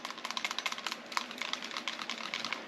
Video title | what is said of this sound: Jewish Rain | so loose in the slide to frame that you can hear it rattling when you shake it